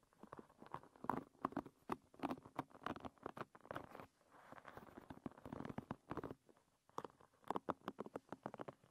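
Long nails pat and scratch over the tips of a hairbrush's wooden pin bristles, giving quiet, rapid, dry clicking taps centered in the mid-range. A softer, smoother scratching stretch sits in the middle, then after a brief pause the quick tapping returns.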